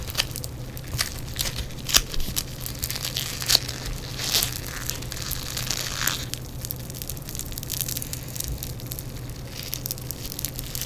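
Yellow foam bead clay is squeezed, then stretched and torn by fingers in black nitrile gloves. Dense, bright crackling and crunching pops come from the beads, with sharper snaps now and then over a steady low hum.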